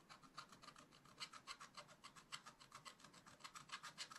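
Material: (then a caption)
Coated paper. A thin wooden stylus scratches away the black wax coating on the giraffe area of a scratch-art page in a spiral-bound book lying flat on a table. The sound is a continuous dry, bright rasping made of rapid, uneven back-and-forth strokes, about three to four per second, with almost no low end.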